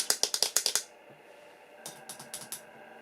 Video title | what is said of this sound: Aliexpress doll BJD 60 cm Doll (Part 2). Is this one better? #Aliexpressdoll | the quality plastic is still hollow and still cheap